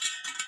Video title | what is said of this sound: เทคนิคการตั้งซี่ลวด ขึ้นซี่ลวดล้อมอไซค์ เปลี่ยนดุม เปลี่ยนซี่ลวด ตั้งศูนย์ล้อมอไซค์ | ไล่ตัวโน้ตดูนะครับไม่ใช่วงดนตรีแต่อย่างใดนะครับแต่เราจะรู้เลยว่าซี่ไหนมันไม่ตึงเราก็ขัน